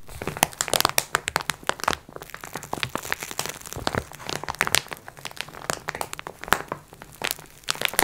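Hands squeeze a flat "Multi Pack x4" package wrapped in thin crinkly plastic film as it lies on a wooden table, while long nails scratch across the wrapper. The result is a dense, continuous run of sharp, bright crinkles and crackles with very little low end, each snap dying away almost instantly.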